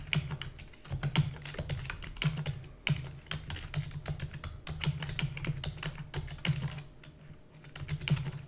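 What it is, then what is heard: Plastic computer keyboard being typed on. Fingertips with long natural nails rapidly type on a black, full-size plastic computer keyboard with hollow key housings. The result is a dense, continuous stream of quick, crisp clicks and clacks, each with a bright tap over a hollow, low plasticky thump, dying away almost instantly with no ring.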